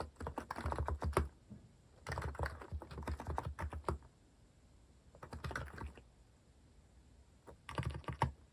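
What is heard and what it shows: Fingertips type rapidly on a compact white-case Hanmumu mechanical keyboard with cream and orange cat-themed plastic keycaps, resting on a wooden desk. Four bursts of quick key taps are separated by short pauses. The keystrokes are short, dull and low-pitched, with little high-end click.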